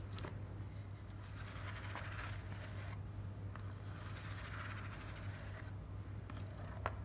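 Long black nails and fingertips tap and scratch the top and side of a small, hollow, closed and stapled corrugated cardboard shipping box lying on dark fabric. Soft, papery scratching swells and fades in waves, broken by a few brief sharp taps, the last one the loudest. A steady low hum sits underneath the whole time.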